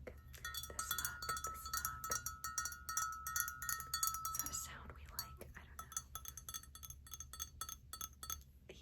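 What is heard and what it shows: Fingernails tap rapidly and irregularly on a hand-painted ceramic mug, made by a coworker from a plain, uncolored mug at a pottery painting studio. The taps give bright, short clinks with a sustained chime-like ring around 1.3 kHz. The tapping is denser and louder in the first half, then sparser and softer toward the end.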